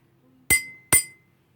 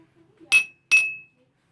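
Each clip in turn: First: Two bright spoon strikes on a glass holding liquid, each leaving a thin ring near 2 kHz. Second: Two bright clinks on a drinking glass, each ringing a clear tone near 2.6 kHz; the glass is empty.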